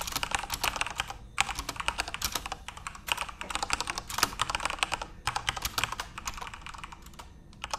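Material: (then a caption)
Plastic. Fingertips type on a full-size RGB-backlit Corsair mechanical keyboard with plastic keycaps, producing rapid bursts of bright, sharp clacks with very short decay. The typing runs in quick flurries separated by brief pauses, with little low-end weight.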